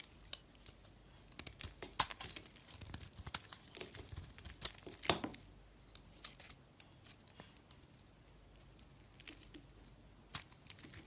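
A blade carves chunks and shavings off a solid green oval soap bar held in the hand, with other soaps lying nearby. Quiet, bright scraping and crisp crackling cuts come in irregular bursts, with a few sharper snaps standing out along the way.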